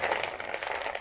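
Finished fried croquettes, small dough snacks of flour, sugar, butter, milk and eggs, are shaken and handled, giving a dense, dry rattling crackle of many small clicks across the second with no low end. The bright, brittle clatter shows they are well crisp after frying.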